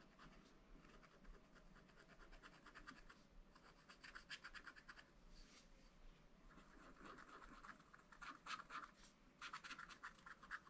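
A wooden stylus scratches lines into a black-coated sheet of a scratch-art paper pad. Quiet, dry, rapid scratching strokes come in bursts with a bright, papery rasp. The strokes grow louder and sharper toward the end.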